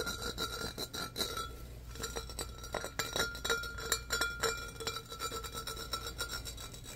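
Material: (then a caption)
Glass. Fingernails rapidly rasp and scratch over the ridged texture of a medium-sized, empty, hollow, clear embossed glass pitcher. The result is a dense run of quick, dry, bright scraping strokes with faint glassy ringing tones, over a steady low hum.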